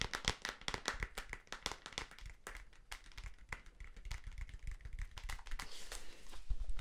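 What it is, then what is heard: Plastic safety goggles tapped. Clear plastic safety goggles with vents and a black strap, their hollow, lightweight frame held in both hands, are tapped with fingertips and nails. The result is a fast, irregular run of short, dry plastic clicks and taps with almost no ring. A low thud sits under each tap, and a brighter click rides on top.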